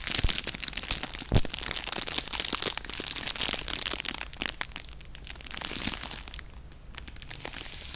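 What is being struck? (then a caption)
Cellophane plastic gift bag. A clear plastic cellophane gift bag tied with a red ribbon and filled with treats is squeezed and crinkled with the fingers close to the microphone. Dense, bright crackling and crinkling runs throughout, with a few sharper, louder snaps early on, especially near the start. A low rumble sits underneath, and the crinkling eases slightly toward the end.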